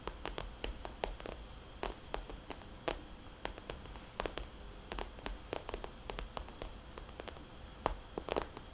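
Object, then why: Glossy plastic cosmetics bag. A small red polka-dot glossy plastic cosmetics bag lies flat while long dark-painted nails tap and lightly scratch its surface. Quick, dry clicks with very short ring sit over a soft, low, steady background hiss, with faint scratching rustles between them.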